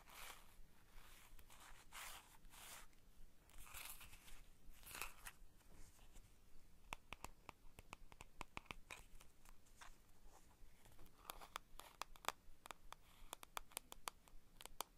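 Long painted nails tap, scratch and rub the front and sides of a small printed cardboard playing card box, hollow with cards inside, as it is held and turned in the hands. The first half is quiet, breathy scratching and rubbing swishes. After that come many sharp, dry, bright taps with no ring, spread through the rest of the clip.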